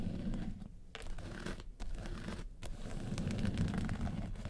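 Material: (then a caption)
Faux leather. Long pointed acrylic nails scratch and tap the textured lid of a small, closed, hollow hard-shell yellow makeup case with woven-texture faux-leather covering. The result is a fast, uneven stream of dry, low, crinkly scratches broken by brief taps and a few short pauses.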